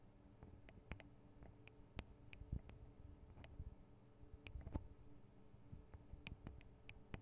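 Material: Metal, plastic.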